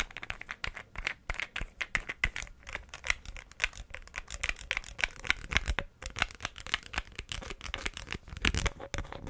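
A small green glass perfume bottle with a dark cap, partly filled with liquid, is held in one hand while the other hand taps and flicks it with fingernails and fingertips. Fast, dense clicks and taps with a bright, glassy edge come in quick bursts, each dying away almost at once.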